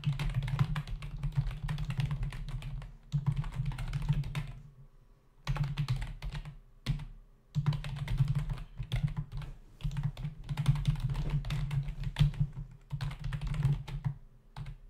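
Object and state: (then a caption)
Plastic membrane keyboard, typing. Fingertips of both hands type on a black plastic membrane computer keyboard with a hollow body and plastic keys, resting on a desk. Rapid bursts of soft, clacking keystrokes with a low, hollow thud come in runs separated by brief pauses.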